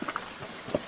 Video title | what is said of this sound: EN 02 RONN WYATT - NOAH´S ARK | it has very Hollow sound very Hollow